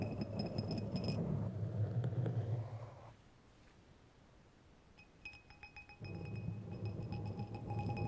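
Two long, thin, solid steel threaded screws or rods, held one in each hand, are scraped along their threads and clinked together. A dense low rumble with bright metallic clinks fills the start, drops to a quiet stretch of faint scratching around the middle, then returns with sharp ringing clinks and the low rumble near the end.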